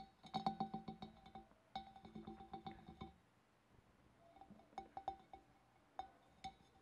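Fingernails tap rapidly on a glass fish bowl, giving bright, clinking taps with a ringing tone around 780 Hz. Two dense bursts of tapping fill the first three seconds, followed by a quieter stretch of sparser, scattered taps.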